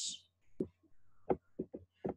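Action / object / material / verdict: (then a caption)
tap / rigid plastic pot / plastic / none. A rigid plastic pot or cup is struck five times, giving short, dull knocks that die away almost instantly, with a brief hiss at the start. The knocks are noted as a low (grave) sound.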